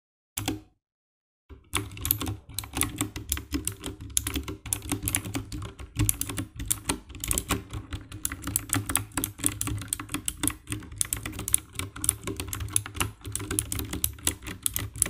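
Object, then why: Plastic mechanical keyboard. Fingertips type on the keycaps of a compact 60% black plastic mechanical keyboard with RGB backlight. After a brief burst and a short silence, steady rapid key presses follow, each a sharp, dry clack with a bright top and a low thock underneath.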